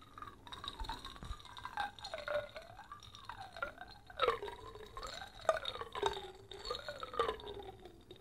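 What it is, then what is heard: Glass jar holding liquid. A small glass jar with a polka-dot metal lid, full of amber liquid and flakes, is held in one hand, tilted and shaken while the fingertips touch the glass. The liquid sloshes quietly with wavering, gliding watery tones in the mid range. Sharper little clicks and taps stand out around four to seven seconds in.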